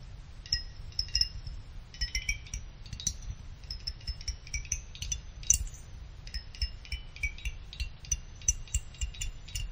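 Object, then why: Finned aluminum CPU heatsink. A pick plucks the thin side fins of a small finned aluminum CPU cooler heatsink, drawing many quick, bright metallic pings that ring like tiny wind chimes. Each ping is short and high-pitched over a steady low rumble in the background.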